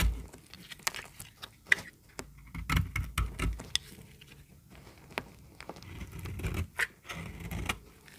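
A solid, dry yellow bar of soap held in the hand is scraped and cut with a snap-off utility knife blade. Dry, crackly scrapes and sharp, bright clicks come in uneven bursts over a soft low rustle of handling. Each cut stops short with no ring.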